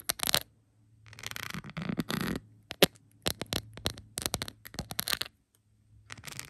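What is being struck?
Rhinestone-covered plastic phone case.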